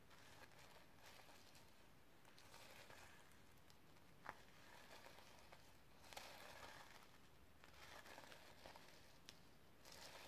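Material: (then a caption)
Plastic sequins. Long nails brush and scratch across a sequin-covered notebook resting on a stack of books. The result is a soft, crinkly rustling with bright, hissy texture, broken by a few sharp little clicks at irregular moments.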